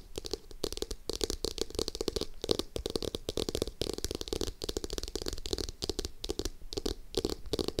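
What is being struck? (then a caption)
Hardcover notebook with cardboard cover. Long acrylic nails on both hands rapidly tap and scratch a navy hardcover notebook with a cardboard cover, lying flat by the mic. Dense, dry clicks with a hollow mid tone mix with bright, papery scratching, each tap dying away almost instantly.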